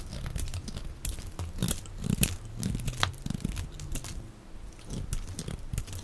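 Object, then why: Bar of soap. A box-cutter blade scrapes and shaves the face and edge of a solid, dry, oval green soap bar held in the palm, cutting it into flakes. It makes a dense run of short, crisp crunching and tearing scrapes with a soft low body and brief bright edges on the sharper cuts.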